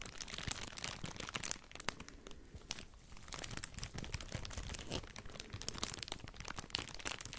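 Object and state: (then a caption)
Thin plastic bag crinkled. A crumpled, empty, thin clear plastic bag held in both hands is squeezed and crinkled with the fingertips close to the microphone. Dense, bright crackling crinkles run almost continuously, with quieter stretches around the second and fifth seconds.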